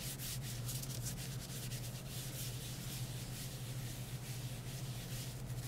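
A disinfectant wipe is rubbed over the back and edges of a smartphone in a light plastic or silicone case held in gloved hands. The result is a continuous, steady, bright rubbing and wiping hiss with soft rhythmic swishes over a low, constant hum.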